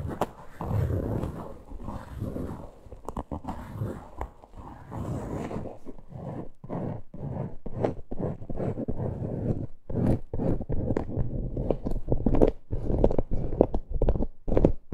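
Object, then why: Faux leather purse back. Long nails scratch the flat back and top edge of a plain, hollow teal faux-leather purse. The result is a continuous low, rough scraping full of quick, irregular strokes, with no ringing after them.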